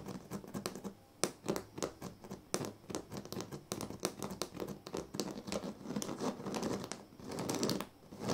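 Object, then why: Woven reed sleeping mat. Fingertips scratch and pluck at the weave of a large, flat woven sleeping mat made of thin dyed reed strands. The result is a quick run of dry, crackly scratches and sharp little ticks with bright edges, broken by a few louder snaps and one longer rasping stretch near the end.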